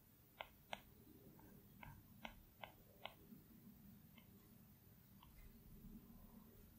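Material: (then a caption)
Glass. A plastic Apple Pencil tip taps and strokes on the large flat glass screen of an iPad Pro. Six sharp, quiet clicks come in the first three seconds, followed by fainter taps and soft scratchy strokes over a low, steady background hum.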